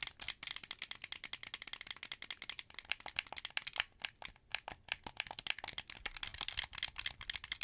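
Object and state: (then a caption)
Plastic game controller buttons. A translucent blue, hollow plastic wired Xbox 360 controller is held in both hands while fingertips press its buttons, sticks and triggers. The result is a rapid, dense run of sharp, bright clicks with a light plastic rattle and almost no low end, each click dying away instantly.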